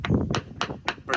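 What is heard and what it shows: Five taps with a hammer on a suspect area of a fiberglass boat hull give dull, low thuds with short decay and little sharp high-end crack, sounding less crisp than elsewhere on the hull. The spot is delaminated, likely from an impact that separated the fiberglass layers, and grinding it back kept pulling out more loose glass.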